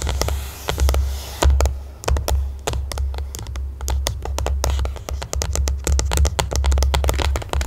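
Long nails on both hands tap and scratch a closed, rectangular white printed cardboard smartphone box lying flat under the mic. The result is a quick, uneven run of crisp, bright clicks and short scratchy strokes over a steady low hum.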